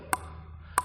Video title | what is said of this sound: Бюджетное и Качественное основание! SANWEI 75 ALC! Обзор на основание для настольного тенниса! | even from the sound you hear how much it rings, it feels like it was pasted on a balsa board